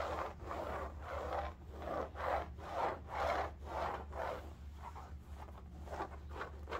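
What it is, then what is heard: Fabric bolster pillow scratched. Fingernails scratch and rub a cylindrical striped bolster pillow in woven upholstery fabric, first held upright and then laid horizontal. It makes a rhythmic, papery scratching of about two strokes per second, centred in the midrange over a steady low hum.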